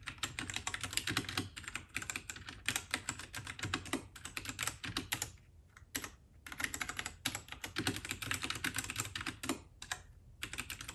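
Fingertips of both hands type rapidly on a compact white RK68 (RK855) mechanical keyboard with plastic keycaps. The result is a dense stream of short, bright, clacky keystrokes with brief pauses around the middle and near the end.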